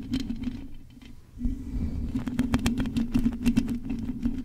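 Long nails on both hands scratch the hollow metal mesh grille of a silver condenser microphone, mostly on its top and sides. Rapid, irregular scratchy taps and bright clicks ride over a steady low hum. The scratching thins out briefly near the one-second mark, then returns denser and louder.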